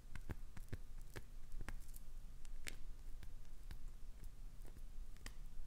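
Long acrylic nails scratch and scrape along the sides of a solid, translucent green glycerin soap bar held in a hand. Short, sharp scratchy clicks and scrapes come in an uneven series over a soft, low, steady rumble, each stroke dying away almost at once.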